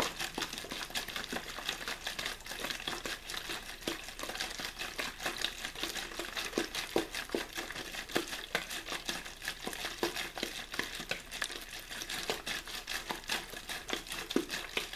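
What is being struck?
Empty plastic water bottle.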